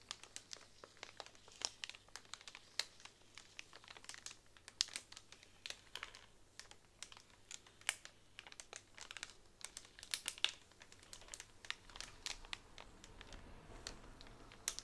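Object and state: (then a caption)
Bamboo straws in plastic wrap. A pack of hollow bamboo straws wrapped in clear plastic is tapped and scratched across with long nails. The result is a steady stream of quiet, dry, bright crinkles and sharp little clicks. There is almost no low end and no ring after each tap.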